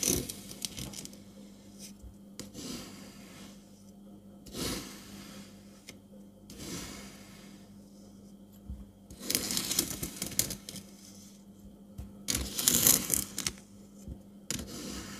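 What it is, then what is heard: Kinetic sand scraped with a metal scoop. A metal ice cream scoop scrapes and scoops through green kinetic sand packed in a small clear plastic round tub held in one hand, shaping it into balls with loose crumbs around. Irregular bursts of bright, gritty scraping and crunching rise and fall over a faint steady low hum.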